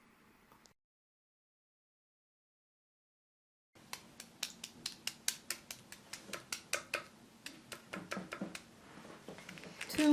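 Cold milk baklava, a layered pastry dusted with cocoa and powdered sugar after cooling, is set on a plate and cut. After a brief quiet start, a rapid series of sharp, bright crackles and crunches rings out as the pastry is cut. The crunch shows the layers are separate and stay crisp.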